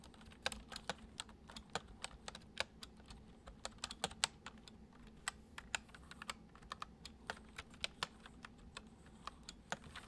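Fingertips gently tap the keys of a full-size white plastic computer keyboard resting on a wooden desk, typing a steady, uneven run of about 36 soft, bright, dry clicks. Each keystroke stops almost instantly, over a faint, steady low hum.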